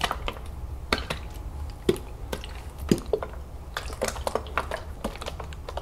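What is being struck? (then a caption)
Plastic juice bottle with liquid. A large plastic lemonade jug full of liquid is tilted, turned and shaken in the hands, and the liquid sloshes over a low, steady rumble. Scattered sharp, dry fingernail taps click on the plastic, with brief bright edges that die away almost at once.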